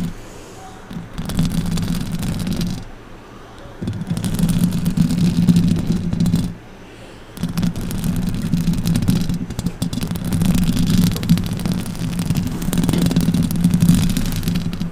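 Long orange acrylic nails scratch and tap the top and sides of the hollow metal mesh grille on a silver condenser microphone. Dense, rough scratching with a low hum near 156 Hz comes in bursts, broken by quieter pauses around 3 and 7 seconds.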